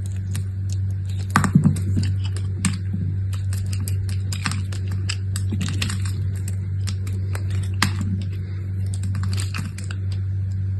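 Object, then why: Striped bar soap. A utility knife scrapes small cubes off a scored grid in a solid brown-and-cream striped bar of soap held in the hand. Many quick, crisp, bright scrapes and clicks come in irregular bursts over a steady low hum.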